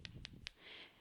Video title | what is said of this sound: Iced buns | when you tap the bottom of it it should sound nice and hollow so that means that they are cooked